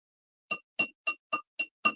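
A Royal Dux porcelain figure, about 5 inches tall and 8 inches long, is tapped six times, each tap giving a brief, bright ring with a clear tone near 2.75 kHz. The piece rings rather than thudding, showing it is not cracked and has only a deep craze line on the inside.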